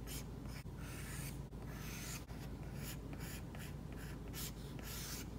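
A plastic stylus tip strokes across an iPad glass screen fitted with a matte plastic screen protector while painting an eye. The result is a steady, dry scratching and rubbing, with bright bursts of friction broken by brief pauses between strokes.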